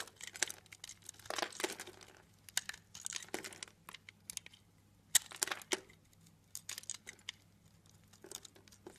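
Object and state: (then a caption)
Bar of soap being cut into cubes. A blade cuts cubes off a cube-scored blue soap bar, making a run of dry, bright, crumbly crunches and scrapes. The short bursts come in clusters with quiet gaps between them, over a faint low hum.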